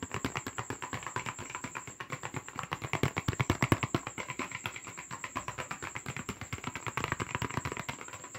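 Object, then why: Cardboard paper box. Fast, aggressive tapping and scratching on a paper box: a rapid, uneven stream of short, dry, papery taps, each dying away almost at once. The taps grow louder in the middle before easing back, with a faint steady high whine running underneath throughout.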